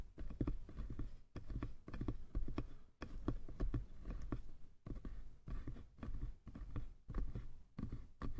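Fingertips tap the sides and then the lid of a small light-wood box, making quick, dull, low-pitched knocks with very little ring. The taps come in rapid bursts separated by brief pauses, giving a muffled patter.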